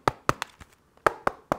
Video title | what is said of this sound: ASUS Zenbook S16 (UM5606) İncelemesi - Seramik Kasa & AMD Ryzen AI İşlemci | Bakın bu Ses Plastik sesi değil Çünkü burada alüminyum ve aynı zamanda gariptir seramik bir kasa var